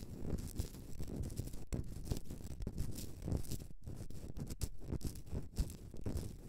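Long dark-painted nails scratch a solid, hand-sized Himalayan salt candle holder, a rough pink-white rock salt block with a hollow cavity, resting on a fur rug. The result is a steady stream of dense, dull, low-pitched scratching and rustling, with quick, closely packed strokes and no ringing after each one.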